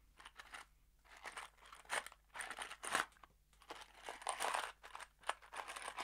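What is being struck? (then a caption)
Small cardboard box holding screws. A small kraft cardboard box holding screws is shaken in an open hand, producing irregular bursts of dry, crunchy rattling with bright, papery crinkle. The loose screws tick and scrape against the cardboard in short, quickly fading clusters, with brief quiet gaps over a faint steady low hum.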